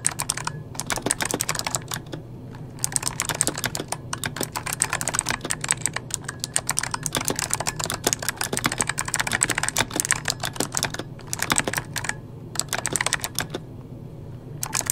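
Fingertips of both hands type rapidly on a full-size backlit mechanical computer keyboard with plastic keycaps. Dense, bright, sharp key clicks fall in quick bursts over a steady low hum, with a few brief pauses between runs.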